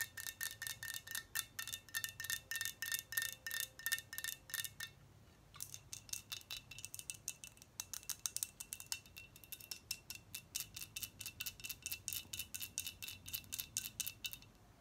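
A tall glass liquor bottle full of pink liquid is tapped with long nails on its neck, cap and glass body. Rapid, bright clicks and short glassy pings repeat for about fifteen seconds with a brief pause near the five-second mark. The tones ring faintly at a steady pitch.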